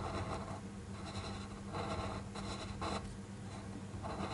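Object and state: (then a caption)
Pen scratching on paper. A black fineliner pen tip inks a flat white paper sheet on a desk in short strokes, giving soft, dry scratching bursts with a bright, papery edge. A steady low hum runs underneath throughout.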